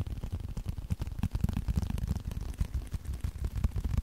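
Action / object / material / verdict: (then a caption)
tap / small leather card wallet / leather / none. A small, flat blue leather card holder is held close to the microphone and tapped and scratched with the fingertips. Soft, muffled, bass-heavy thumps come in a quick, uneven stream, each dying away almost instantly, with faint scratchy texture between them.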